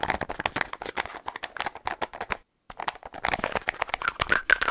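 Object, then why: Plastic deodorant stick with plastic cap. Fingernails tap rapidly on the light blue plastic cap of a small, hollow white plastic deodorant stick. The result is a dense run of dry, bright clicks with almost no low end and no ring, briefly pausing before resuming even faster.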